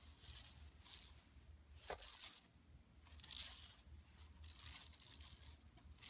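Long nails scratch and rub the mesh of a large, flat, empty yellow woven plastic tote bag resting on carpet. Bright, raspy scratching comes in uneven swells, with a low hum beneath.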